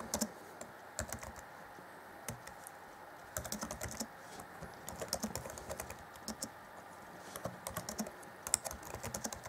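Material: Plastic.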